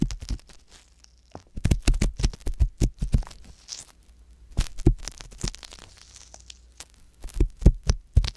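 A wooden ear pick, held close to the ear, scratches inside the ear canal of a soft silicone ear on a white box binaural microphone. Close, dry scrapes and crackles come in clustered bursts with short quiet gaps between them, heavy in low rumble with faint bright hiss.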